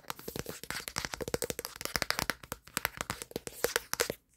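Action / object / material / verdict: tap / plastic smartphone back panel / plastic / none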